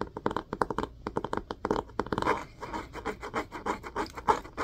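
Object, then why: Hardcover book with cloth-covered cardboard cover. Fingernails of both hands quickly scratch the top of the spine of an orange hardcover book with a cloth-covered cardboard cover, held upright. Rapid, dry, papery scratching bursts centered in the midrange die away almost instantly. They start as distinct strokes and blur into a denser, more continuous rasp in the second half.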